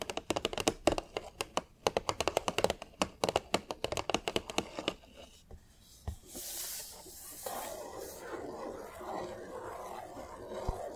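Long nails tap rapidly on the front and sides of a large, hollow, green printed cardboard display box, making a quick typing-like clicking with a hollow papery knock. After about five seconds the tapping fades into a bright hissing swipe and then a steady, softer scratchy rustle across the cardboard.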